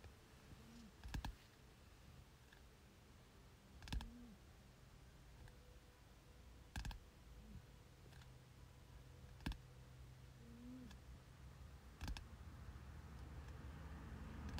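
Short-nailed fingertips tap on the glossy front cover of a thick softcover "General Biology 1" textbook with solid paper, lying flat on a bed. Five short, dull taps sound a few seconds apart and die away almost instantly, over a low, steady background.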